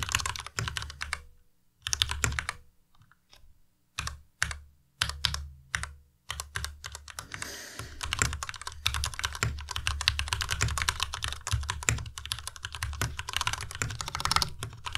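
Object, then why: Plastic mechanical keyboard. A white plastic Ducky Miya Pro tenkeyless mechanical keyboard with linear red switches is typed on by the fingertips of both hands. Quick bursts of sharp, bright clacks with a low thock from the keycaps come first, broken by short pauses, then settle into steady continuous typing.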